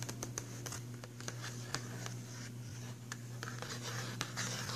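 Fingertips and nails tap and scratch the glossy front cover of a filled, printed cardboard box of pastel pencils. Quick, dry clicks and bright scratchy strokes sit over a steady low hum, with the taps landing as short, sharp spikes that die away almost at once.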